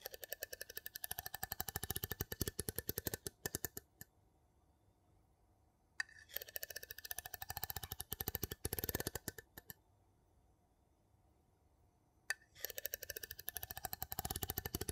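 A wooden spoon is rapidly tapped and scraped on the textured top of a gold metal lid sitting on a small empty glass jar. Quick, dry, sharp clicks come in fast dense bursts with a bright scratchy edge, separated by two brief silent pauses.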